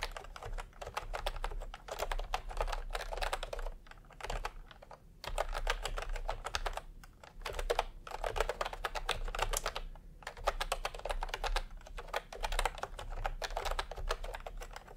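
Fingertips type in continuous taps on a full-size plastic typewriter-style computer keyboard with round retro keycaps in peach and cream, lying on a white cloth. The result is dense, rapid, clicky keystrokes in bursts separated by brief pauses, over a steady low hum.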